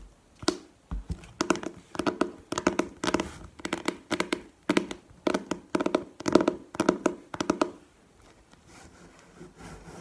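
Long painted nails tap and scratch the printed cardboard faces of a book-sized manga collection box filled with books, first lying on a table and then stood upright. Quick, dry taps with a hollow mid-range tone come in bursts over about 8 seconds, followed by quieter, softer scratching.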